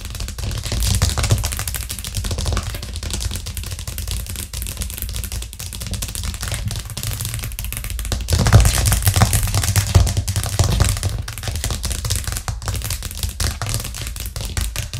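Long nails on both hands tap fast and irregularly on a white plastic cutting board with green edges, which rests flat on a cork trivet. The result is a dense stream of short, dry clicks over a low, thumpy body, with a louder, busier burst around the middle of the clip.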